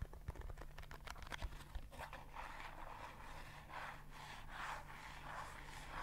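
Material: Paperboard.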